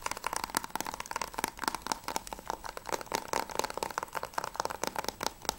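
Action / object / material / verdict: tap / plastic game case tapped with fingernails / plastic / none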